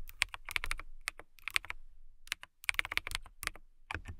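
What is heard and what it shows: Long nails type and tap on a transparent acrylic mechanical keyboard with clear plastic keycaps and case. Sharp, bright clicks come in quick bursts, with a short pause in the middle. Each click stops almost instantly.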